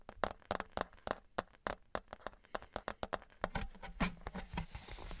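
Fingertips tap a thin, embossed metal souvenir novelty license plate, first held flat and then on its edge. The result is a quick, uneven run of short, dry, clip-clop-like knocks with a midrange tone that die away almost instantly. Toward the end, the taps blur into a brighter, hissier patter.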